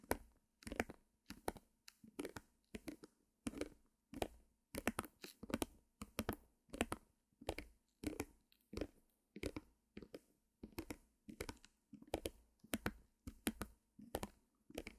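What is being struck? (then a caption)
Small stretched canvas on wooden frame. Long nails tap and scratch the top surface of a small white stretched canvas on a wooden frame with a mini easel, held close to the mic. Quick, dry, crackly taps and short scratchy bursts come in a steady, uneven rhythm at a soft level, each dying away almost instantly over a faint low hum.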